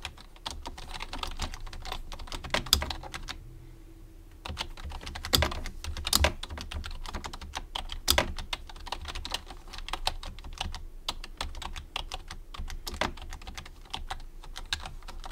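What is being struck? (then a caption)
Plastic computer keyboard. Both hands type with their fingertips on a full-size white plastic low-profile computer keyboard resting on a wooden desk. A steady stream of short, bright key clicks with soft low thuds runs throughout, pausing briefly about a second in, then resuming with a few louder strokes.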